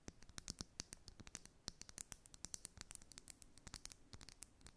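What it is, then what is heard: Glass foundation bottle. A glass makeup foundation bottle is tapped and scratched in a quick, quiet run of sharp, dry clicks. The clicks are high and bright, with soft scratchy texture between them and almost no ring after each one.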